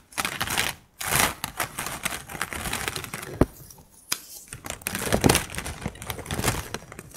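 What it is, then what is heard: Plastic drinking straws tapped and scratched. Long pink acrylic nails tap and scratch along a close-up bundle of empty, colorful, hollow plastic bendy straws. The result is a dense run of crisp clicks and bright, crinkly scrapes with brief pauses near one second and four seconds.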